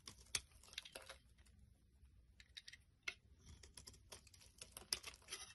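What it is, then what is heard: Soap bar being shaved with a blade. A solid pink soap bar held in the hand is scraped and shaved with a blade. The result is a quiet run of short, crisp, bright scratching ticks with a dry crinkle, about eighteen separate strokes, with a few sharper cuts standing out.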